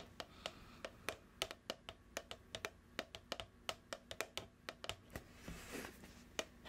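A medium plastic cookie dough tub with a printed label, held close to the mic, is tapped with long nails in a slow, irregular rhythm. Twenty-six sharp, bright clicks sound with almost no ring, and a soft rustling swell appears near the end before a final tap.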